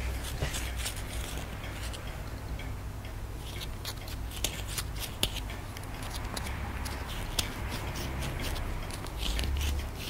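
A wooden stick scratches and scrapes away a solid white plaster excavation block held in the hand, with a skull emerging from it. Dry, gritty scraping and sharp ticks come over a steady low hum, and a few brief clicks stand out above the rest.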